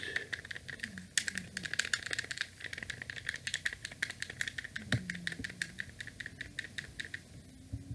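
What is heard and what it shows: A small, rectangular, hollow light-grey and white plastic wired NES-style game controller is held in both hands while the thumbs rapidly press and click its buttons and D-pad. The result is a quick, uneven run of sharp, bright plastic clicks with a tone near 1.8 kHz, each dying away almost instantly, over faint low rubbing from the hands.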